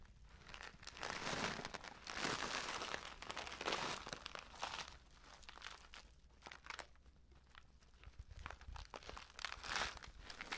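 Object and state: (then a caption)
Flat paper tea bag being crinkled. A flat, unfilled paper tea bag with an orange "Bio Tee" print, thin, hollow and looking empty, is held by the edges and flexed and crinkled by hand. Bright, papery crinkling and crunching rises and falls in irregular swells, with quieter rustling between the louder bursts.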